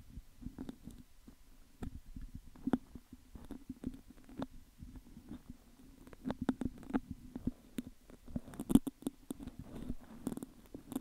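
Fingertips and nails repeatedly pick and tap the hollow metal mesh grille at the top of an upright metal condenser microphone. The result is a dense, irregular run of short, dry clicks and scratchy ticks, with a few sharper, brighter taps. Underneath runs a low, steady resonant hum.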